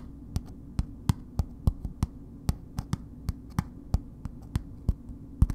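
A solid bar of soap in a red paper wrapper, held upright, is tapped and lightly scratched with long nails. About nineteen short, dry, crisp taps come at an uneven slow pace, each cutting off almost instantly over a steady low hum.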